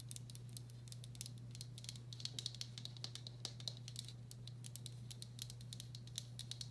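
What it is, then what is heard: Ceramic bowl. Long black acrylic nails tap rapidly and lightly around the outer wall and rim of a medium, hollow, empty turquoise speckled glazed ceramic bowl. The result is a quick, irregular run of crisp, bright clicks with a high, brief ring that dies away almost at once, over a steady low hum.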